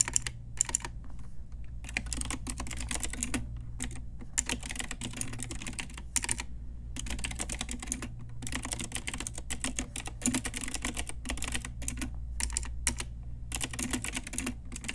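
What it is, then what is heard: Plastic mechanical keyboard being typed on. Both hands with long nails type steadily on a pink Ajazz retro typewriter-style plastic mechanical keyboard with round plastic keycaps. It makes a dense, continuous stream of short, bright clicks and clacks over a steady low hum. There are only brief pauses between bursts of typing.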